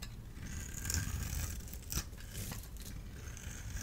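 A solid orange-and-white striped dry bar of soap, held in the palm, is scored and scraped with a small blade tool, and flakes fall away. The sound is a soft, continuous dry scraping and crunching with a low rumble underneath and faint bright hiss, plus a slightly sharper crackle near the two-second mark.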